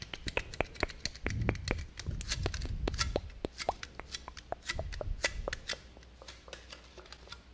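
A single standard-size Itaipava aluminium beer can, hollow and probably empty, is held in both hands and tapped with fingertips and nails in front of a binaural microphone. Rapid, irregular taps produce short, dry clicks with bright metallic edges over a soft low rumble of handling. The taps thin out and grow quieter toward the end.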